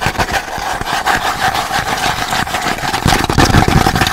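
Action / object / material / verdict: scrape / cardboard tube / cardboard / none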